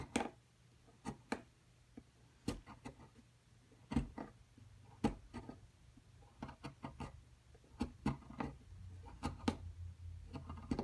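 A small metal chisel repeatedly scrapes and chips at a solid plaster dinosaur-nest excavation block held in a long-nailed hand, knocking off fragments. About twenty sharp, dry clicks and scrapes sound with very little ring, spread irregularly over a quiet background with a faint low hum.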